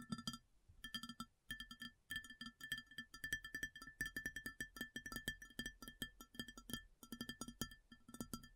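Long nails rapidly tap and scratch the base of a round white ceramic plate that sits upside down, hollow underneath. The result is a steady stream of quick, dry clicks, each with a short bright ceramic ring over a soft hollow body tone around 230 Hz, with brief pauses between bursts.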